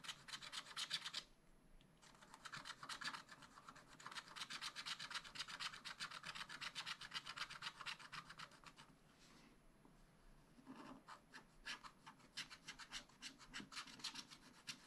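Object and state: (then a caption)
Scratch-art paper being scratched. A pointed wooden stylus held in the fingers draws lines on a black wax-coated scratch-art sheet in a spiral-bound pad lying flat on a table. The result is rapid, bright, raspy scratching strokes at about four per second. Brief quiet gaps fall near 1–2 seconds and 9–10.5 seconds before the scratching resumes.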